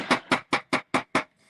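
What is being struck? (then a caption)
Popcorn popper top, sheet metal. Six taps on the metal top of a large popcorn popper ring out as short, bright, evenly spaced clinks with a pitch near 246 Hz. The quick metallic ring marks the top as metal rather than plastic.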